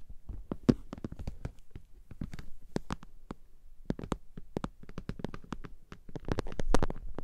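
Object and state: Vinyl makeup bag.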